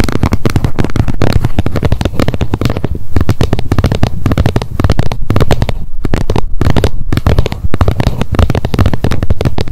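Long nail tips rapidly tap the edge of the plastic lid on a wet wipes pack held upright. The result is a dense, continuous stream of short, dull clicks with a heavy low-end thump and little brightness.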